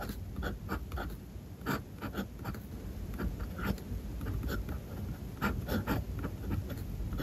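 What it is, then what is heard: Fountain pen writing on paper. A steel fountain pen nib scratches across a flat white page of a spiral notebook while writing Japanese text. Short scratchy strokes come in uneven bursts over a low rumbling bed, with brief bright, papery taps as the nib lifts and lands.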